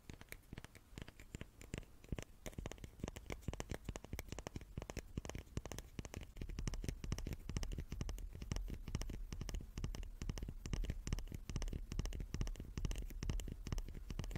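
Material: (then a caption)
Wood. A small wooden cube is tapped rapidly and continuously, giving a dense stream of short, dry taps with a low, thuddy body and almost no ring. The tapping grows louder after about six and a half seconds and stays busy and slightly irregular to the end.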